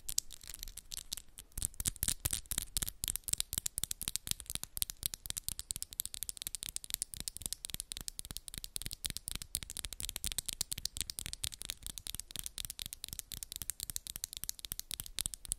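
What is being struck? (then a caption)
Acrylic press-on nails. Long, solid pink and black acrylic press-on nails are scratched and tapped against each other in a fast, continuous stream of crisp, bright clicks and scrapes. The clicks die away almost instantly, and the sound runs steadily for the whole clip.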